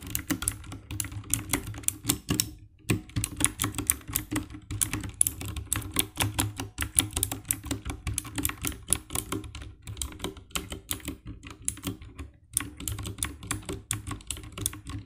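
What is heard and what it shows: Fingertips type fast on the keycaps of a compact 60% black plastic mechanical keyboard with RGB backlight. Dense, rapid clacks and taps run almost continuously for about fifteen seconds, with brief pauses near 2.5 and 12.5 seconds. Each keystroke is short and crisp, with a low thock body and a bright click on top.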